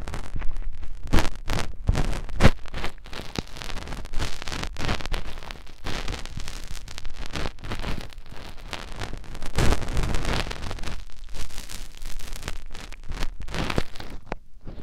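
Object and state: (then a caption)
Silicone microphone ear rubbed by fingers. Fingertips rub and wiggle inside the canal and concha of a white silicone binaural microphone ear, giving close, muffled scratching and rustling. The sound is a dense run of soft thumps and scrapes, heavy in the low end, that rises into louder bursts and dips away near the end.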